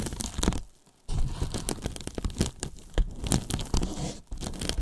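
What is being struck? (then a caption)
Polyethylene foam box. Fingers peel and rub a foam layer on the top edge of a large, white, hollow polyethylene foam box, making a crinkly, crunching tearing sound. The dense bursts pause briefly near the start, then continue steadily to the end.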